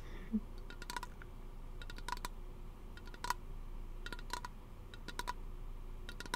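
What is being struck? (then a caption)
Aluminium aerosol can. A small, hollow teal aluminum aerosol lotion can is held close to the microphone and tapped with fingernails. The result is quick, light clicking taps in small clusters with a brief metallic ring, over a steady low background hum.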